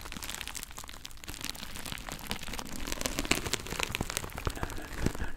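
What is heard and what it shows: A hand-sized, soft pack of colorful kitchen sponges, sealed in thin plastic film with a cardboard label, is held in both hands and scratched and squeezed with fingertips and nails right next to the microphone. The wrap gives a dense, continuous crinkling and crackling made of many quick, bright ticks over a soft low rustle. It grows slightly louder and sharper toward the end.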